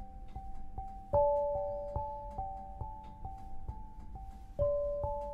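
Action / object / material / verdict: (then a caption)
strike / granite lithophone bars / granite / none. An 8-bar lithophone of solid black granite slabs on a low frame is struck with two soft-headed mallets, red and green balls on wooden sticks, tapping out a melody. Clear pitched tones ring out, centred near 580 Hz, each sustaining about a second over a soft low thud, with the strongest strikes near the start and toward the end.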